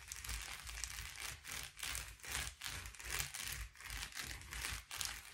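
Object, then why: Metallic foil bubble padded envelope. Fingertips and nails of both hands tap and scratch the bubbles of a blue metallic foil bubble padded envelope lying flat on a table. The result is a steady, bright, crinkly scratching with soft low thumps, rising and falling in short bursts separated by brief quiet dips.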